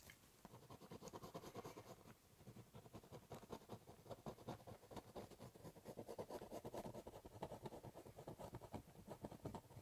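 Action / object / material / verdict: scrape / corrugated cardboard box / cardboard / none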